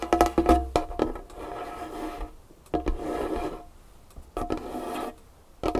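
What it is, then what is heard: Wooden tabletop. A single long fingernail taps and scratches a large, solid dark wood tabletop. A quick run of sharp, woody taps with a hollow tone near 700 Hz gives way to three stretches of steady, rasping scratching. Brief taps separate the scratches.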